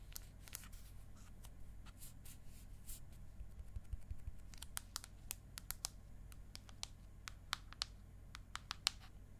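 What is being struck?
Aluminium tablet back.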